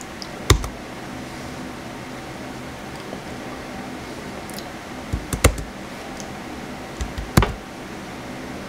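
Fingertips tap the white plastic keys of a blue plastic laptop keyboard in a few sparse bursts: a click near the start, small clusters midway and later, and one at the very end. Each keystroke is a short, sharp click that dies away almost instantly over a steady low hum.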